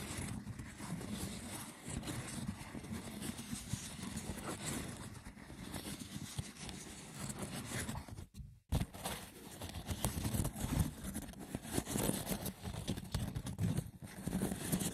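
Short nails scratch the sides of a small, hollow, rectangular woven wicker box with a lid, then fingertips scratch its braided top. The result is a dense, continuous rough scratching with a woody, low-heavy body and faint bright crackle. A brief silence near the middle separates the two parts.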